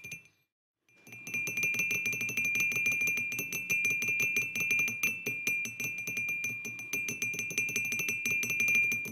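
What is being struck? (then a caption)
Empty ceramic mug. Fingertips with short nails from both hands tap rapidly on the sides of an empty white ceramic mug with an orange and yellow print, standing on a wooden table, while the fingers also grip and rub it. After a brief quiet start, a dense run of bright clicking taps carries a steady ringing tone near 2.4 kHz that sustains throughout.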